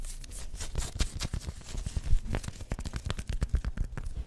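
Long white nails scratch and rub with both hands across the chest and printed badge areas of a worn black pinstriped polyester sports jersey with printed logos. A rapid, uneven run of short, dry scratching strokes and soft rubs with dull low thuds underneath, each stroke dying away almost at once.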